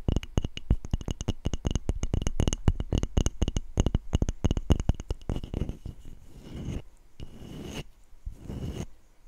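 Long nails and fingertips tap and scratch the flat back of a handheld wooden-backed brush with dark bristles and a solid light wood body, held close to the microphone. Rapid, dry, low-heavy taps with a faint bright tick fill the first half, then give way to softer, hissing scratches and rubs across the wood.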